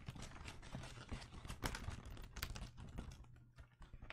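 A roll of blue penguin-print wrapping paper on a cardboard tube, held upright beside a microphone, is tapped and rubbed along its paper surface with fingertips and nails. Quick, soft taps with hollow low thumps mix with crisp, bright papery scratching in an uneven, continuous patter.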